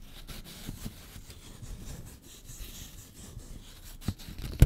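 A folded 20 dollar paper bill is rubbed, crinkled and scratched with long fingernails. A quiet, low rustling scrape continues steadily, with faint bright crackle on top. Sharper crinkles pop out near the end.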